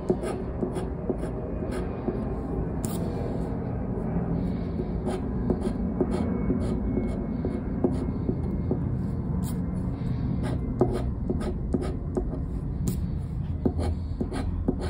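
A round black plastic scraper is rubbed in repeated strokes across the scratch-off panel of a thin coated-paper scratch card resting on a wooden table. The result is a steady, low-heavy rasping scrape dotted with short, sharp ticks that carry up into bright high tones.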